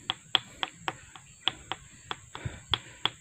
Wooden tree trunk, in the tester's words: kalau suaranya padat bisa itu sangat kuat